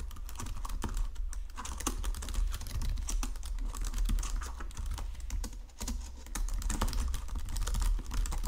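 Fingertips with painted nails type steadily across the low-profile keys of a full-size white and silver plastic Logitech keyboard resting on a marble desk. The result is a dense stream of soft, quick clicks and taps over a low hum, with a brief lull near the middle before the typing resumes.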